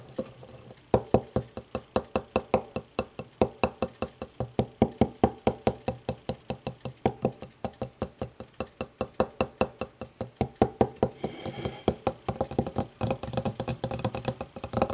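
Long nails tap and knock quickly on the base and side of an empty clear glass tumbler resting upside down on a wooden table. Dozens of short, sharp clicks follow in an uneven but steady stream, each with a brief glassy ring around 460 Hz. Near the twelve-second mark the taps blur into a denser, scratchy patch before distinct taps resume.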